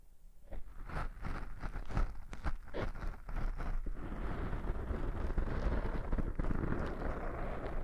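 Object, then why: Foam microphone windscreen. Fingertips scratch and rub two black soft porous foam windscreens on binaural microphones. Quiet, low, muffled scratchy strokes come in quick bursts at first, then merge into a steady, dense rumbling rub that carries on to the end.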